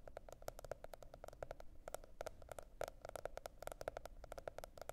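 Long nails tap and scratch the printed cardboard cover of a spiral-bound planner. It makes a quick, uneven run of soft, dry clicks with a faint hollow tone, over a low, steady background rumble.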